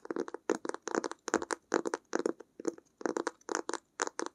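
Long acrylic nails tap and scratch the textured cloth cover of a closed blue-grey fabric-covered hardcover sketchbook held in both hands. Quick clusters of crisp, dry clicks and scratchy rasps come in short bursts separated by brief silences. The sound is bright and close, with almost no low end and no ringing after each tap.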